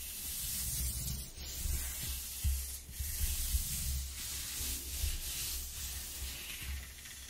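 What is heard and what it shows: A palm and fingers rub across the exposed flutes of a flat corrugated cardboard sheet. The result is a steady, dry, scratchy rasp with a bright hiss on top and a low, rumbling undertone, swelling and easing with each stroke without any distinct hits.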